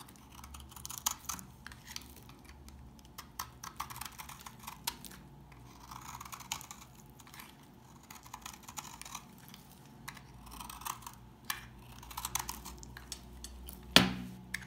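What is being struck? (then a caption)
Household soap bar cut with a knife. A knife shaves crumbly curls off the edge of a dry, solid tan household soap bar. Quick, dry scraping and crackling cuts repeat unevenly, with bright crisp clicks over a faint low hum. A sharper, louder snap stands out near the end.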